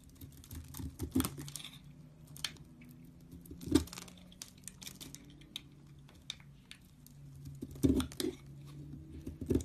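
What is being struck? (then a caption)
Soap bar shaved with a knife. A knife shaves dry flakes off a beige soap bar onto a pile, producing soft, crisp scraping and light pattering ticks with a low, muffled body. A few louder scrapes stand out near the start, middle and end, with quiet crumbling flakes in between.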